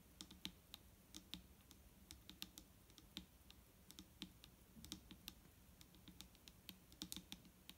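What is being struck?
Plastic bottle of liquid.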